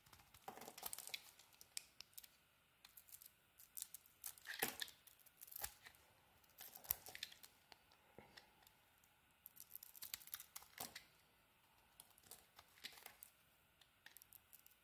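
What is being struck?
Bar of soap scraped with a blade.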